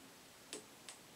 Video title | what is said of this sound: Tube Lab #51 Biasing the Willsenton R8 or any Push Pull Class AB amp | these tubes are a little bit more microphonic